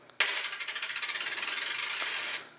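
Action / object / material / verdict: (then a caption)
drop / silver quarter coin dropped on a table / silver / real. A 1962 90% silver quarter is dropped onto a table and bounces and spins down in a quick series of bright metallic clinks that blur into a rattle over about two seconds. Its ring is high-pitched, noticeably higher than a clad quarter's, which marks it as a real silver coin.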